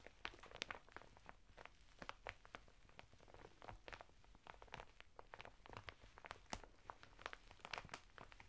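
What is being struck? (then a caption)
Sisal bath mitten in crinkly plastic wrap. A sisal/jute bath mitten in clear plastic wrap lies flat on a table, its red cardboard header flap torn open and folded back. Fingertips of both hands scratch and tap rhythmically on the crinkly plastic over the coarse woven fibre, making quiet, dense crackles and sharp bright ticks over a low background hum.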